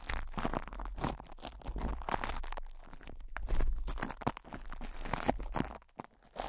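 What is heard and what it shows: Fingertips scratch and rub crinkled plastic cling film stretched over a metal microphone grille, producing dense, irregular crunching and crinkling with a heavy low rumble beneath. The crackles come in uneven bursts, with brief quieter gaps.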